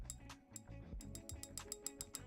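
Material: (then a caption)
Metal. A metal balisong butterfly knife is shaken, and its blade taps against the side of the handle channel in thirteen bright, sharp metallic clicks over a low background hum. The rattle happens because the pivots are not tightened and the handles have play; the tap is not great but not the worst.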